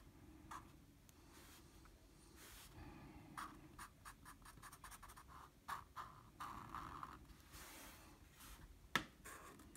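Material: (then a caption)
Paper. A blue felt-tip marker colors small areas on a flat sheet of drawing paper, its felt tip rubbing the paper. Quiet, soft scratchy strokes come in short bursts with a faint bright hiss, and a sharper tick stands out near the end.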